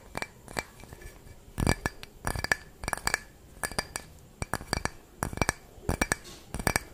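A small, clear, empty drinking glass is held up close in both hands and tapped and scratched with long fingernails. Quick bursts of bright clinks and ticks come in uneven clusters, with a short glassy ring around 1.7 kHz that dies away almost at once. Soft scratching fills the gaps between the taps.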